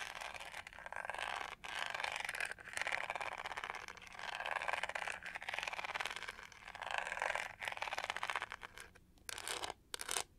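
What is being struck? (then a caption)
Textured plastic hair brush. Long nails scratch over the studs on the pink-gold, pyramid-textured back of a hand-sized hollow plastic hair brush. A dense, bright, rasping scratch runs in repeated strokes that swell and fade, with a few brief breaks, and a short run of sharper scrapes near the end.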